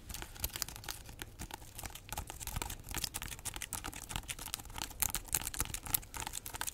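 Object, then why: Whole pineapple rind. Long nails scratch and tap the textured rind of a large, solid whole pineapple held close. The result is a dense, dry stream of crackly, bright scratches and quick clicking taps with no ring, and occasional sharper ticks stand out.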